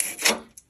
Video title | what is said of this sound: MGI Restoration Speaker Analysis | It's just turning into powder. And you can hear how crispy this is.